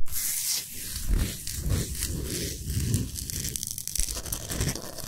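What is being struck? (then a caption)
Himalayan salt block. Long nails scratch and rub back and forth across the top of a large, solid, flat Himalayan salt slab. The result is a run of rough, gritty strokes with a tearing, crinkling texture, a heavy low thump under each pass, and bright hiss on top.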